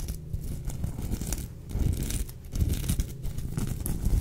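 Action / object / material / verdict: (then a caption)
scrape / sequin fabric plush toy / sequins / none. Long acrylic nails scratch and rub across the sequins of a soft, filled sequin-fabric unicorn plush toy. The result is a continuous, close-up rustling scrape with crinkly, tearing-like textures, heavy in the low end with faint bright ticks, swelling louder in a few passes.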